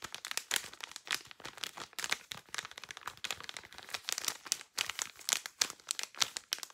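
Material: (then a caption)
Plastic. Long nails crinkle and scratch thin, clear plastic blister packaging with a cardboard backing that holds a white powder puff. The result is a dense run of sharp, bright crackles and dry scratches with no low end, each snap cutting off almost instantly.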